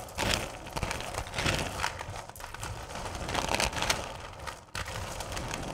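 Hands with long purple nails dig into and rake through a full bowl of small, solid candy corn pieces. The result is a continuous bright clattering and rustling of the candies shifting against one another, with louder scraping bursts as the nails plunge in and a brief drop to near quiet just before the end.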